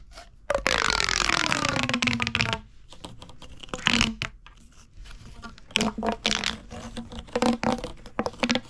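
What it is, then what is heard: Plastic pop tube toy. A hollow purple corrugated plastic pop tube is squeezed in the hand and then bent so its ridges pop. Long bursts of bright, crackling rasps with squeaky, gliding tones alternate with quieter stretches and short clusters of sharp clicks and pops.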